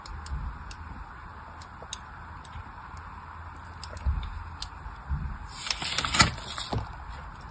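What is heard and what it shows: A thin metal blade scores crisscross lines into the surface of a solid, hand-sized pink bar of soap held in one hand with long white nails. Quiet, crisp ticks and light scratches sit over a low, steady hum, then a brighter, denser scraping burst rises near the end before the cutting fades back to soft ticks.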